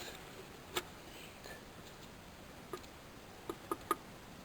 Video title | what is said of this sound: Checking A Positive Crankcase Ventilation Valve | shake the PCV valve and listen to see if it rattles. Okay. You can hear it faintly.